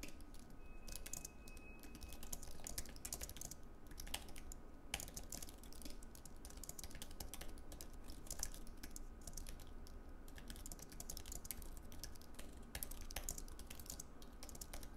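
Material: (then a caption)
Plastic. Fingertips of both hands type continuously on a slim white Apple Magic Keyboard, with plastic keycaps on an aluminium base, resting on a wooden desk. A quiet, steady stream of soft, short key clicks with bright ticks runs over a constant low hum.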